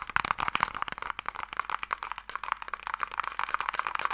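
Fingertips and long nails tap rapidly across the lid of a closed wooden Mikado box held in both hands. The result is a dense run of short, dry clicks and knocks that die away almost instantly, centred around 1 kHz with little low end and some bright edge.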